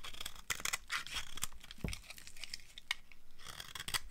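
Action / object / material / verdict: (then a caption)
scrape / bar of soap scraped with a cutter blade / soap / none. A utility cutter blade scrapes thin shavings off a small, dry, light green bar of soap held in the hand. The clip is a run of crisp, dry, bright scraping and tearing rasps with short, sharp peaks. Each stroke cuts off with almost no ring.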